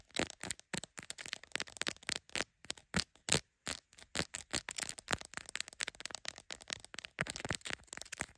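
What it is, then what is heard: Smartphone camera lenses tapped and scratched with nails. Long acrylic nails on both hands rapidly tap and scratch the glass camera lenses and lens bump of a smartphone in a clear plastic case held in a black clip holder. The result is a fast, uneven stream of sharp, bright clicks with short crackly scrapes between them, each dying away almost instantly.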